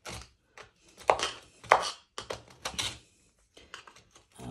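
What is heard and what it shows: A metal screwdriver tip, held in one hand and steadied with the other, scrapes and chips out the dark cement grout between small square glazed ceramic tiles mounted solid on a bathroom wall. Short, bright gritty scrapes and sharp clicking chips come in irregular bursts, and grout crumbs fall away.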